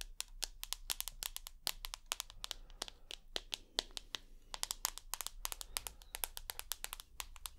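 Long nails rapidly tap the glass screen of a rose gold iPhone with an aluminium body. Dozens of crisp, bright clicks arrive in an uneven rhythm, each dying away almost instantly over a faint low hum.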